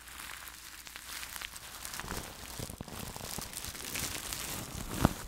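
A fluffy makeup brush sweeps and rubs over clear plastic cling film wrapped tightly around a large metal-mesh microphone held in one hand. The result is a steady, close crinkling and rustling with bright hiss, growing a little fuller midway, and one sharp, louder crackle just before the end.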